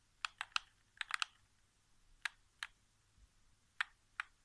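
Fingertips tap the thumbsticks and center area of a white, hollow plastic PS4 game controller resting on carpet. About ten short, dry, bright clicks come in loose clusters with quiet gaps between them, and each one stops almost instantly with no ring.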